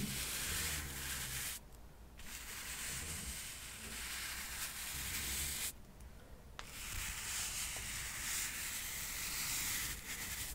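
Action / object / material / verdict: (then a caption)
scrape / stack of cork coasters / cork / none. A small stack of solid square cork coasters, held in one hand, is brushed with a soft paintbrush held in the other. Steady, bright, airy brushing continues throughout, broken by two brief quieter gaps near 2 and 6 seconds.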